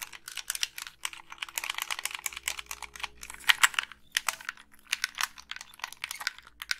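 Long pink nails click the buttons and tap the hollow plastic shell of a black Xbox 360 gamepad. The result is a rapid, irregular stream of dry, bright clicks and taps that cut off almost instantly, with brief pauses between bursts over a faint low hum.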